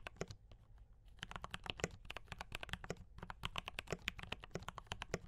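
Fast fingertip typing on a D84 mechanical keyboard with brown switches and cream and red plastic keycaps produces a dense run of short, bright clicks and clacks. The keystrokes land in quick bursts over a steady low hum, with only a brief lighter pause near the start.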